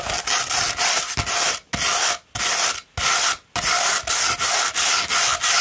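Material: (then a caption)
Abrasive paper. Long red nails scratch a coarse 60-grit sheet of greenish-tan sandpaper rolled into a hollow tube. The result is a harsh, gritty, bright rasping heard in steady strokes broken by brief silent pauses.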